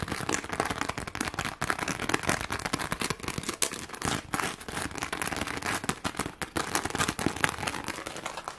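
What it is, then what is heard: Plastic rhinestone sheet. A flat, thin, hand-sized pink sheet covered in rows of plastic rhinestones is scratched and tapped quickly with long glittery acrylic nails. The result is a dense, continuous crackle of sharp, bright clicks and scrapes with no pauses and almost no ring.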